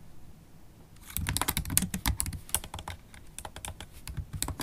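Long stiletto acrylic nails and fingertips type close-up on a MacBook Pro laptop keyboard with low-profile black plastic keys set in a silver aluminum body. After about a second of quiet, a quick, uneven run of sharp clicks and taps follows, each with a bright nail tick over a soft low thud and almost no ring.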